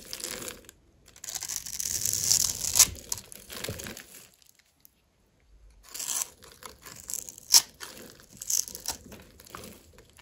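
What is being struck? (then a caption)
Bar of soap. A metal blade scores a grid into a solid, dry, white embossed soap bar held in the palm and scrapes off cubes, making bright, dry scratching and crumbly tearing sounds with sharp crunchy clicks. The cutting comes in two bursts separated by a brief silence near the middle.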